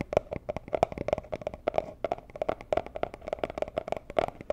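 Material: Cardboard.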